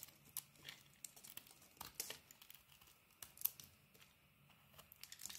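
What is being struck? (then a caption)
Bar of soap cut with a metal blade. A solid bar of soap with a green rim and cream interior, held in the hand, is shaved into thin curls with a metal utility-knife blade. Quiet, crisp scraping and crinkling strokes come in a quick, uneven series, each short and bright with almost no low end or ring.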